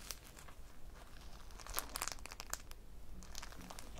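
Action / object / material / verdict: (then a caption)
scrape / polyurethane foam squishy toy / polyurethane foam / none. A small, solid polyurethane foam squishy toy shaped like a cake slice, with pink icing, yellow crumbs and an orange topping on a phone strap, is held in both hands, squeezed and scratched with long painted nails. Quiet, dry crinkling and scratchy crackles come in quick, bright bursts over a faint low background hum.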